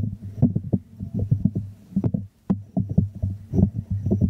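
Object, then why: Small glazed ceramic jar. Fingertips and nails tap and scratch the glazed surface of a small, hollow white ceramic jar held upside down in both hands. The result is a rapid, uneven run of soft, dull, hollow knocks with a low resonant body and very short ring. A brief silent gap falls near the middle before the tapping resumes.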